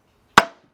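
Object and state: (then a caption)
Fully seated crankshaft pulley. A hammer strikes a wood block held against the metal crankshaft pulley of a 2002 Dodge Stratus 2.4 during a timing belt and water pump job. A single short, dull knock is heard with a quick decay. The dull tone shows the pulley is fully seated back on the crank.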